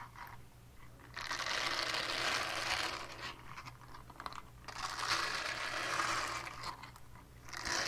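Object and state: Silicone scrubber pad.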